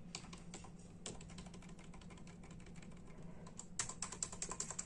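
Bare fingertips of both hands tap steadily and rapidly on a full-size black and silver plastic membrane keyboard with hollow keys. The result is a quick run of short, bright, hollow clicks over a constant low hum, with the taps growing louder and sharper toward the end.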